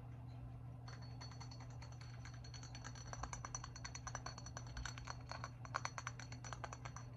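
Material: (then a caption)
Stoneware. A large, hollow, grey-white glazed stoneware jug with a handle is held up close and tapped rapidly on its curved side with long acrylic nails. The result is a quick run of light, crisp clicks over a steady low hum, growing denser and louder after about three seconds.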